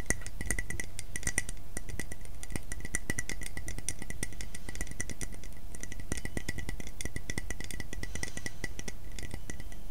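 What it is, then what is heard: Ceramic mug. A medium black ceramic coffee mug with a light green inner rim, hollow and apparently empty, is held in both hands close to the microphone and tapped with fingernails and fingertips. It gives a dense stream of quick, light clinks, each with a bright ring around 2 kHz over a low rumble. The taps come steadily at an even loudness throughout.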